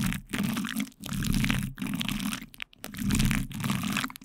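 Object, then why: Plastic cling film stretched over a microphone grille, rubbed with plastic spoons. The backs of two light-blue plastic spoons press and scrape repeatedly on plastic cling film wrapped over a microphone's metal mesh grille. The result is a close, crinkly crunching and rustling with a heavy low rumble, coming in long swelling bursts separated by brief silent gaps.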